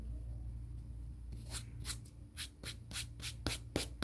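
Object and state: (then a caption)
Emery board nail file. Fingertips and nails are rubbed quickly across a grey emery board nail file held in the hands. After a quiet start with a low steady hum, eight bright, hissy scraping strokes follow in an uneven rhythm, each short and dry.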